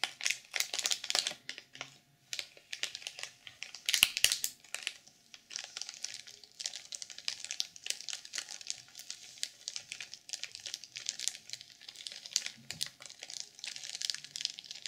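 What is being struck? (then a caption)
Sequin-covered journal sealed in plastic film. Long purple nails tap and scratch the cover of a black sequin journal that is sealed in clear plastic film and lying flat. The result is a steady stream of bright, crinkly scratching and quick, crisp taps with almost no low end.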